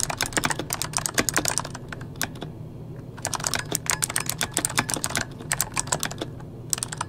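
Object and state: Plastic mechanical keyboard.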